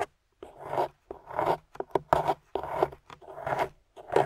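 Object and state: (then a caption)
Plaster block scraped with a metal pick. A small metal spoon pick, held in a hand with long pink nails, scrapes the white plaster top of a solid gold-painted plaster excavation bar. Repeated short, gritty scraping strokes rasp in uneven bursts with brief pauses between them, centered in the midrange around 660 Hz.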